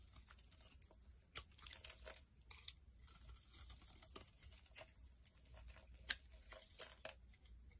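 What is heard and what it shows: A rectangular solid bar of soap with a pink face and orange edges, held in the palm, is shaved into crumbly flakes with a metal blade. Quiet, dry scraping and crisp crumbling ticks run throughout, bright and short with almost no ring, with a couple of sharper cuts standing out.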